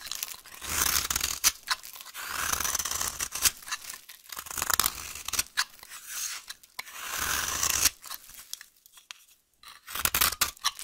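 A solid, dry, green vintage soap bar held in the hand is scraped with a utility knife blade into crumbly curls. Bursts of bright, dry crunching and tearing scrapes are broken by short pauses, with sharp crackles throughout and almost no low end.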